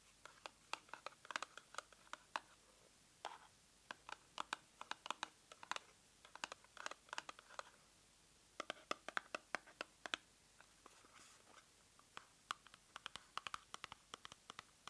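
Long nails scratch and tap the faces and edges of a small, hollow, pink printed cardboard cosmetic box held in the hands. The result is a quiet stream of dry, crisp clicks and papery scratches, centered in the upper midrange with bright edges and no low end. Each tap stops almost instantly, with no ring, in brief clustered bursts separated by short pauses.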